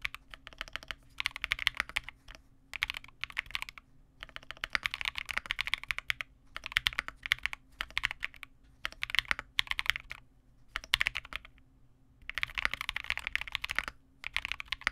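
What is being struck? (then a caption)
Mechanical keyboard with plastic keycaps. A custom Vega65 65% mechanical keyboard with re-lubed Cobalt switches, white plastic keycaps and a dark case is typed on continuously with both hands' fingertips. Rapid, bright plastic clacks centred around 2 kHz come in dense bursts separated by brief pauses, over a faint steady low hum. Each keystroke is crisp and dies away almost instantly.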